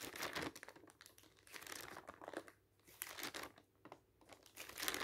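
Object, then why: Thin paper leaflet. Fingertips rapidly turn and flap the pages of a thin paper advertising leaflet, producing bursts of bright, dry crinkling. The rustles rise and fall in quick waves with brief quieter gaps between them.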